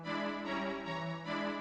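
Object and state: Nothing is struck.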